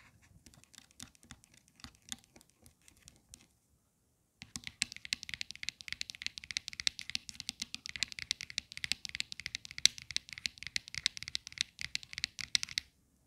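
Long acrylic nails tap and scratch on the white plastic square base of a phone holder, likely hollow, near its stem. A few soft, sparse taps come first, then a brief silence, followed by a long run of rapid, bright, crisp clicks and scratches.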